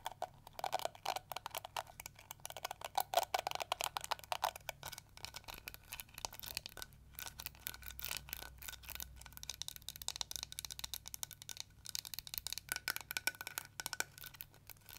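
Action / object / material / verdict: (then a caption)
scrape / plastic detangling hair brush / plastic / none. Long nails scratch the yellow bristles of a small pink plastic detangling hair brush, then tap and scratch its ridged, hollow pink plastic shell. The result is a quiet, dense run of crisp, bright clicks and dry scratching with almost no ring, over a faint steady low hum.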